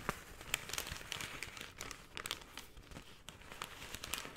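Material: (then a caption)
Paper. A folded brown kraft paper shopping bag is unfolded and crinkled by hand. Quiet, dry, bright crackles and crinkles come in an irregular series of short, sharp snaps over a soft rustling bed, with little low-end weight.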